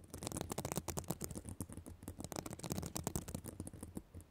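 Long black nails scratch across the plastic sequins of a reversible sequin fabric notebook cover. The result is a quiet, dense run of rapid crackly scratches and bright clicking ticks over a soft low rumble, with each stroke stopping almost instantly.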